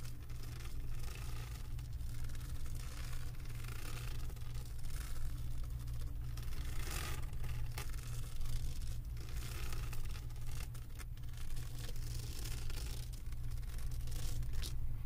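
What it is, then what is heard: Resin diamond painting scratched with nails. Long acrylic nails scratch across the beaded surface of a flat diamond painting made of resin drills on a canvas board. A steady, continuous low hum near 62 Hz dominates throughout, with dense, bright, rasping scratches layered on top and occasional sharper scraping bursts.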